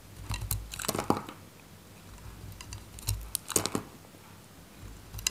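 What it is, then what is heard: Dry bar soap cut with a knife. A solid, faceted bar of dry green soap held in the fingers has chunks cut off with a metal craft knife. Crisp, crunchy scraping cuts come in two clusters separated by quiet stretches, with short bright clicks and soft low thuds.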